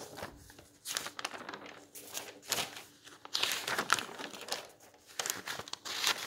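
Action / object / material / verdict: scrape / bound volume of old paper magazines / paper / none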